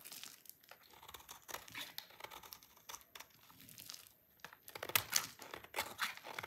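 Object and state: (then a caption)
Dry soap bar scraped with a blade. A utility knife blade scrapes a solid, dry blue soap bar, piling up crunchy chips. The sound is a run of dry, bright, crinkly scrapes and crackles with almost no low end, growing louder and sharper toward the end.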